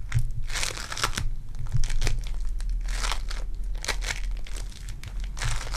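A lump of purple foam-bead clay is squeezed and torn apart by fingertips with long dark nails. It makes dense, crunchy crinkling and crackling with bright, sharp bursts over a low, steady hum, so the separate hits blur into one continuous texture.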